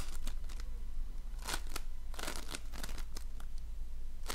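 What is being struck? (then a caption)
Slime with polystyrene foam beads. A donut-shaped ring of floam, slime packed with polystyrene foam beads, is squeezed and shaped with fingers. It gives irregular bursts of bright crackling and crinkling over a steady low hum.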